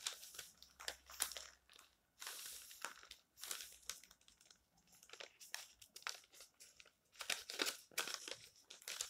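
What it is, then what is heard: Glossy paper magazine pages. Fingertips rub, smooth and lift the thin glossy printed pages of a paper magazine lying open on a stack of magazines on a table. Soft, bright, papery rustles and crinkles come in short bursts of varying length, separated by brief quiet gaps, with almost no low end.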